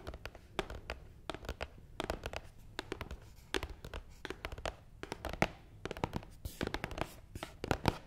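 Long nails tap quickly across the top of a long, hollow, black matte cardboard box. The result is a quiet, irregular stream of short, dry, clicky taps with a soft, low, hollow thump beneath them, and each tap dies away almost instantly.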